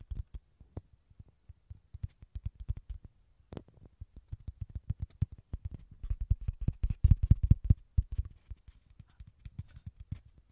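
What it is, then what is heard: Dried gourd shell, hollow. Fingertips and nails make rapid, irregular taps and scratches on a small, hollow, halved dried gourd with a tan shell, close to the mics. The taps land as short, dry, low, hollow knocks with almost no ring, over a faint bright scratching texture. They grow denser and louder toward the latter half before thinning out again.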